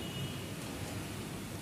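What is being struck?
Nothing is struck.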